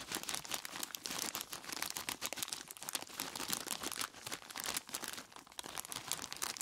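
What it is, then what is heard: Plastic bag of ice cubes. Both hands squeeze and rub a large clear plastic bag full of ice cubes with their fingertips, crinkling the plastic and crunching the ice inside. The result is a dense, continuous stream of bright crackles and crunches with almost no low end.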